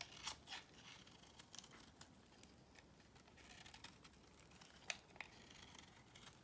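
A solid beige bar of soap held in the hand is scraped and cut with a box cutter blade. The sound is a quiet, bright run of short crisp scrapes and crackles, with two sharper clicks standing out. There is no ringing after any of them.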